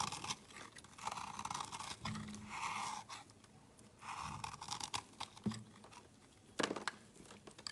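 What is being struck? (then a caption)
Small bar of soap. A utility knife chops and scrapes crumbs off a small, solid, layered bar of pink, purple and orange soap held in the fingers. Crisp, crunchy scraping strokes with a midrange hiss come in bursts, separated by a few sharp cutting clicks and quiet pauses.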